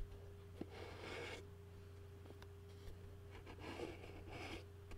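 A fingertip taps and scratches the bottom of a white plastic takeout bowl, producing soft, bright scraping bursts with a few light taps. A steady low hum runs underneath throughout.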